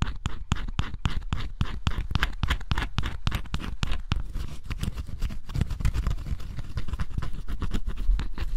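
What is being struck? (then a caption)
Cardboard jigsaw puzzle piece with scratch-off coating. A small dark tool held in the fingers scrapes the black scratch-off coating on cardboard jigsaw puzzle pieces, leaving flakes behind. Rapid, steady scratching strokes repeat throughout, each a short, dry rasp with bright edges over a heavy low-frequency rumble.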